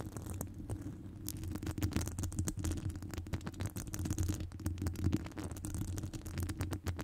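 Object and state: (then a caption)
Metal microphone mesh grille being scratched. Long acrylic nails scratch a hollow metal wire-mesh microphone grille, making a dense, continuous run of rapid scratchy clicks over a steady low rumble. The quick raspy strokes carry bright metallic ticks on top, and the overall sound stays close and muffled.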